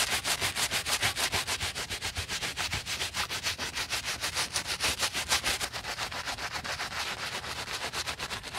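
A wooden-handled bristle brush with soap foam scrubs the woven knit upper of a white Adidas Yeezy Boost 350 sneaker around the heel and collar, while the hollow shoe is held in a gloved hand. Fast, steady back-and-forth strokes, roughly three per second, make a bright, hissy, bristly rasp that pulses evenly throughout with little low end.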